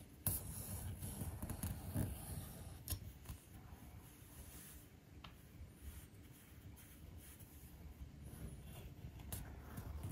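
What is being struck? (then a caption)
Thin leather panel on a stone surface, scraped with a metal-tipped edge tool. A metal-tipped grooving or edge tool is drawn along the edge of a flat, thin, solid navy-blue leather piece held down by fingers on a stone bench top, cutting a groove. The result is a quiet, low, rough scratching and scraping that runs steadily, with a few sharper clicks and brief bright ticks.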